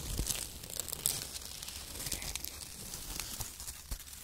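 Fingers crumple and squeeze handfuls of shredded brown kraft paper strips and press them into the pile. The result is strong, bright crinkling and crackling with sharp crunchy bursts.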